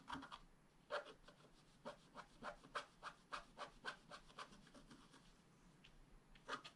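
A wooden stylus scratches short strokes into the black coating of a flat scratch-art paper card. A quiet series of dry, raspy scratches comes in irregular bursts, with brief gaps between strokes. Each has a midrange bite and a bright hiss that stops almost at once.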